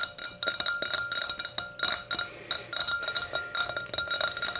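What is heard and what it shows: A hurricane glass is tapped in quick, uneven bursts, giving bright, ringing clinks with a steady high glassy tone and a softer pitch near 1.4 kHz. The taps come in clusters separated by brief pauses, each one short and sharp with almost no low end.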